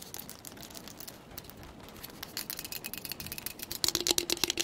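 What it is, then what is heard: Plastic travel tumbler. Long pointed acrylic nails tap fast and hard on a hollow purple and grey insulated plastic travel tumbler with a grip band and lid, held upright. The dense, crisp clicking is mostly high-pitched, with a faint hollow tone around 344 Hz, and grows louder and sharper toward the end.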